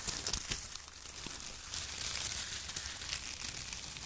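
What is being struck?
Shredded kraft paper strips.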